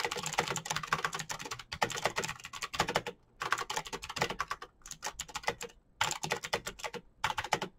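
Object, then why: Plastic mechanical keyboard. Fingertips of both hands type fast on the keycaps of a full-size, backlit black plastic Razer BlackWidow mechanical keyboard with green clicky switches, sitting as a solid unit on a desk. Bursts of sharp, bright, clicky key taps run in rapid succession, each dying away almost instantly, with brief pauses between runs of typing.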